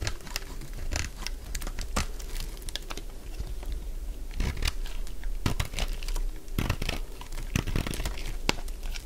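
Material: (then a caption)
Soap. A solid, dry purple lavender soap bar held in one hand has its surface shaved and scraped with a metal utility blade. The result is a steady stream of short, dry, crunchy cutting and crinkling scrapes, with bright transients over a low background.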